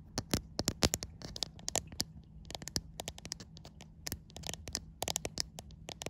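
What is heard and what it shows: Long white acrylic nails scratch and tap the glass back of a white iPhone, seen in a mirror. The result is a quick, irregular series of sharp, dry clicks and brief scratchy scrapes that are bright and die away at once, over a faint steady low hum.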